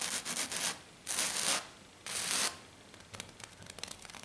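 Long black nails scratch hard and fast across a flat silver glitter-coated sheet, making three bright, rasping bursts with near-silent gaps between them. Quick, light scratches and taps follow, giving a run of crisp, high ticks that fade into a soft hiss.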